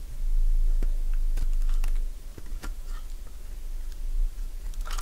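A metal blade cuts crisp curls along the edge of a solid light-green Fa soap bar held in the hand, producing sharp, dry crunching clicks at an uneven pace. The cuts sit over a steady low hum.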